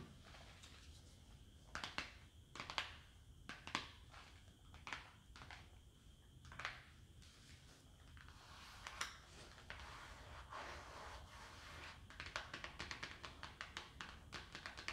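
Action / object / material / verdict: tap / paperboard cream cheese box / paperboard / none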